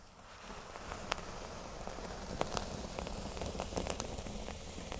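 Fingernails scratch a flat, thin, solid cork board resting on a table, first along its top edge and then across the center. A steady, dry, crackly scratching builds slightly in loudness, with a low rumbling undertone and several sharp, bright clicks popping out through the texture.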